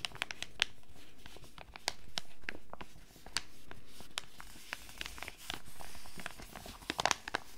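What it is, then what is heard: Foil sachet. A flat foil and plastic sachet holding a foot mask is held in both hands and crinkled and tapped with long red nails. Sharp, bright clicks and crisp crinkles sound over a low, steady background that swells and fades.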